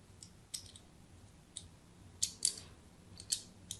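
A thin metal blade scores diagonal grid lines into a solid white embossed soap bar held in hand. Several short, bright, crisp scraping cuts land at uneven intervals over a quiet, low background hum, each fading almost at once.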